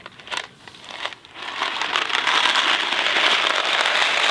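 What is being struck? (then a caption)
Cardboard box filled with dry pasta. Fingertips scratch and tap a small Kraft macaroni and cheese cardboard box filled with dry pasta, making a few light, separate crinkly taps at first. The box is then tilted so the pasta shifts, building into a steady, bright, dense rattling hiss of dry pieces sliding inside the cardboard that lasts to the end.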